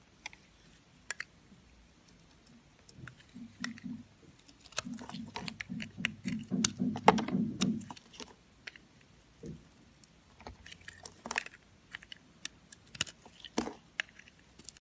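A red-handled utility knife blade shaves and carves slices off a solid yellow bar of dry soap held in the hand. Crunchy scraping and cutting comes in rapid, uneven bursts, with a low grainy rasp under sharp, bright clicks. The strokes build to a dense stretch in the middle, then thin out into scattered crisp snaps and short pauses.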